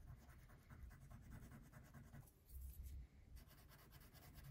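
A pink wax crayon held in fingertips rubs in continuous scratching strokes across a thin printed paper coloring sheet lying flat on a wooden table. The sound is a soft, dense, low-heavy scratch with faint bright texture. It swells into a louder stretch of strokes in the middle before settling back to steady coloring.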